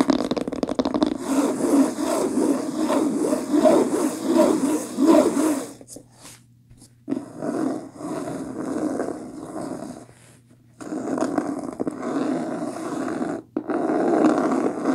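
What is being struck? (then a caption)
Linen cloth-covered hardcover book. Long fingernails scratch and tap quickly on the cover of a beige linen cloth-covered hardcover book lying flat. The sound is a dense, raspy scraping texture with light taps, broken by brief quiet pauses before resuming.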